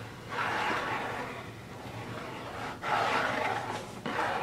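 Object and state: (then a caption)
Cardboard box scratched and tapped. Fingertips and nails scratch and tap the lid top of a closed, hollow, medium-size rigid cardboard Birchbox subscription box, blue with gold dots, with its lid on. Dry, papery scratching rises in three bursts, with friction noise concentrated in the mids around 800 Hz to 2 kHz and a faint steady low hum underneath.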